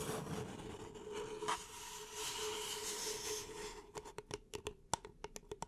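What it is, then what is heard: Paper cup scratched and tapped with nails. Long nails scratch steadily along the side of an empty beige paper cup held in both hands, making a dry, hissing rasp over a faint low hum. After about four seconds, the nails switch to 13 quick, crisp taps on the hollow cup, each short and bright with almost no ring.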